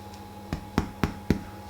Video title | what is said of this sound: Stottie Cake | If you tap the bottom, you hear like a nice hollow sound. They're virtually cooked.